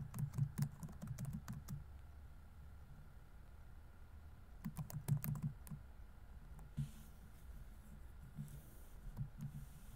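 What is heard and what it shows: Fingertips rapidly tap the plastic keys of a laptop keyboard set in a grey laptop body while typing. Quiet bursts of soft, dull clicks come in clusters at the start and middle, separated by a near-silent pause, with a few scattered taps toward the end.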